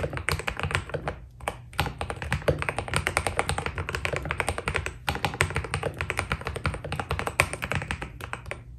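Fingertips of both hands type quickly on a white Keydous NJ80 mechanical keyboard with PBT plastic keycaps, a steel plate and foam inside. The result is a dense run of short, crisp clacks with a deep, muffled thock underneath and a bright click on top. Each keystroke dies away almost instantly, and the typing pauses briefly twice.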